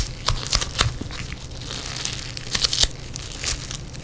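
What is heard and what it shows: A lump of yellow foam bead clay is held and squeezed between fingers in black nitrile gloves. Dense, bright crunching and crackling rise in quick bursts over a low rumble, with sharper pops near the start and end.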